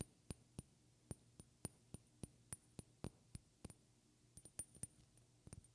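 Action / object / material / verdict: tap / small glass perfume bottle, partly filled / glass / none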